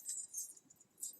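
A metal jingle bell with a loose ball inside is shaken, so the ball strikes the side of the bell. Quiet, bright, high jingling comes in a few short bursts with almost no low end, and each rattle fades quickly.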